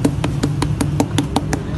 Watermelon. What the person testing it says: the sound of a drum should be heard out of a good watermelon